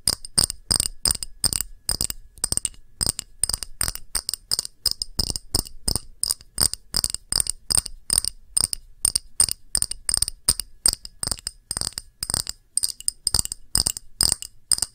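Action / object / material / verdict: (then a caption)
tap / small pressed-glass dish / glass / none. Long nails tap fast and scratch now and then on an empty, small, round, clear pressed-glass dish with a beaded rim. The result is a rapid run of bright, high glassy clicks and clinks with almost no ring, separated by brief quiet gaps.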